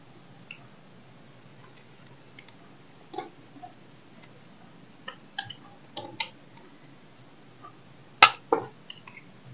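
A knife blade carves and scrapes a solid dry soap bar held in the hand, breaking off small chunks. Short, crisp, bright cracks and scrapes come at irregular intervals over a quiet background, with the loudest snaps near the end.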